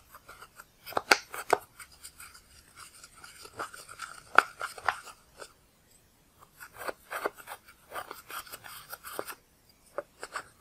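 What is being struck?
Pressed powder eyeshadow in plastic pans.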